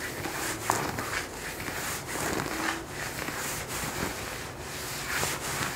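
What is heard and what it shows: Fingertips and short nails scratch and rub the surface of worn blue denim jeans on a raised knee and thigh. The result is a steady, dry, broadband rasping texture that swells and fades in repeated strokes, with bright scratchy edges and a brief sharp tick early on.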